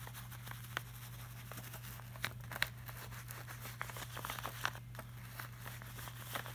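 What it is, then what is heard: Glossy laminated art print. Fingertips trace and scratch lightly over the shiny surface of a flat, glossy laminated art print. Soft, dry scratching runs throughout, broken by short, bright ticks and crinkly flicks at irregular moments. A steady low hum sits underneath.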